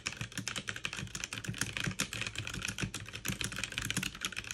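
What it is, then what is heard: Plastic mechanical keyboard. Fast two-handed typing with fingertips and long nails on a backlit mechanical keyboard with plastic keycaps. A dense, steady stream of sharp, bright clicks and clacks is heard over a low, hollow thud, each keystroke dying away almost instantly.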